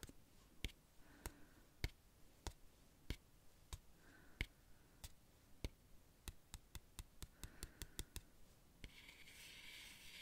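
Fingertips tap and rub across the solid laminated cardboard pages of an open children's sensory board book printed with coloured dots. About 21 short, dry taps arrive at a slow pace before bunching into a quicker run. Faint scratchy rubs sit between the taps, and a soft, bright brushing hiss closes the clip.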